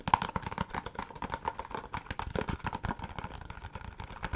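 Long fingernails rapidly tap and scratch a long, narrow, empty-looking white Laneige cardboard product box held in the hand. A fast, dense stream of short, dry clicks and scrapes carries a hollow tone near 930 Hz, with each tap dying away almost instantly.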